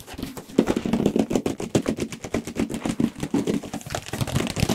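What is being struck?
Large cardboard box.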